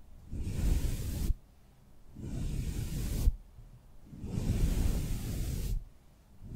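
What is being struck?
Nothing is struck.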